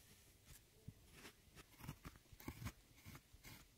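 A metal loop-ended tool with a rhinestone handle scratches and digs into a brown pan of a pressed powder eyeshadow palette. It makes dry, crunchy scraping bursts with soft low thumps and brief bright crackle, spaced irregularly over a quiet background.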